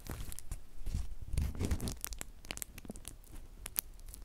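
A flat sheet of clear plastic bubble wrap is held in both hands while individual bubbles are squeezed and popped with the fingertips. Sharp, bright pops and snaps land irregularly over a soft crinkling, tearing-like rustle with a low, muffled rumble underneath.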